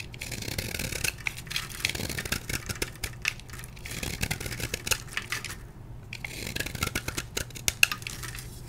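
A palm-sized solid block of blue-dyed magnesium chalk, held in one hand, is carved and scraped with a metal blade held in the other, and crumbs fall onto a white plastic tray. The result is a steady run of dry, bright scraping and crunching, broken by many short, sharp ticks and crackles, with a low steady hum underneath.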